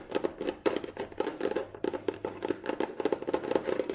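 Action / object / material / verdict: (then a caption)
tap / cloth-bound hardcover book / cloth, board / none. Long manicured nails tap and scratch across the tan cloth cover of a solid old hardcover book with a red spine. The result is a quick, uneven run of dry, close taps with a midrange knock near 380 Hz, bright scratchy edges, and no ring after each hit.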